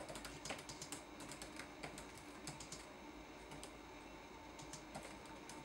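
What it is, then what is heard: Plastic laptop keyboard. Fingertips type on a red-backlit laptop keyboard with plastic keys, making a quiet, steady stream of light, bright clicks and taps over a soft low background hum. The keystrokes come in uneven bursts throughout the clip, each short and crisp.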